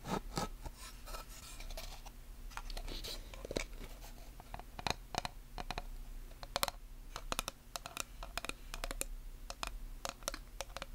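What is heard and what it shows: Long nails tap and scratch across the flat, solid surface and wooden frame edge of a small handheld black chalkboard. Many short, sharp, bright clicks mix with softer scraping strokes, all over a quiet, steady low hum.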